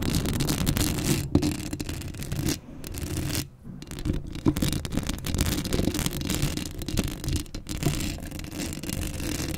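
Long acrylic nails scratch the hollow metal mesh grille of a black Blue Yeti microphone, producing a dense, continuous scraping rasp heavy in low rumble with a thin bright edge. The rapid strokes run almost unbroken, dipping into brief quiet gaps around the three- and four-second marks before resuming at a steady level.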